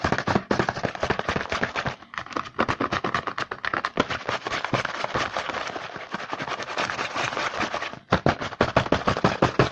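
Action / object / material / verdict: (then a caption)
tap / printed cardboard box / cardboard / none. A printed cardboard Hanuta chocolate bar box is held in the hand while fingertips rapidly tap and scratch across its front face. The result is a dense stream of sharp, dry clicks and papery scratches that reach into the bright highs, with brief dips near two and eight seconds before the rapid tapping resumes.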